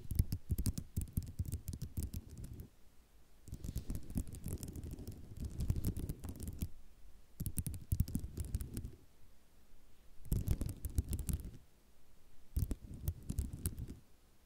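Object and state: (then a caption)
Ceramic mosaic tile sheet. Long nails scratch and tap across a flat sheet of small white ceramic mosaic tiles, making dense, rattling clicks in bursts separated by short quieter pauses. The sound is mostly low and soft, with sharp bright ticks from the taps.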